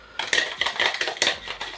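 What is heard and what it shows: A metal cocktail shaker, with its spring taken out and one giant ice cube inside, is shaken hard. The unmelted ice bangs against the walls in a run of sharp, bright metallic knocks. The shaking continues until the noise stops, which means the ice has melted.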